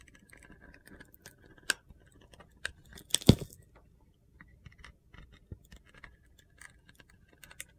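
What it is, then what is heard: Glitter-coated soap bar shaved with a blade. A small, solid white soap bar coated in light blue glitter is held in the hand while its outer layer is shaved off with a utility knife blade. Soft, gritty scraping and crackling crunches come through in short bursts. A louder, sharper crunch stands out near the middle.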